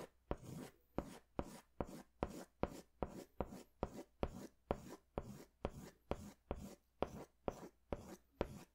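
A yellow crayon is scratched across a large paper sketch pad held upright, in long hatching strokes. Nineteen evenly paced strokes are heard, each starting with a sharp tick and trailing into a soft, dry, papery rasp that quickly fades. The scratching stays quiet and close throughout.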